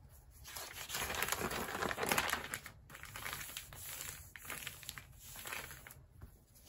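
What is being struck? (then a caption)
Glossy paper magazine. A thin, flexible glossy paper magazine lies open on a rubber mat while bare fingers turn its pages and palms rub and press along the spine to flatten it. Soft, crinkly paper rustling and rubbing swell and fade in a continuous, bright wash, with a few sharper crackles.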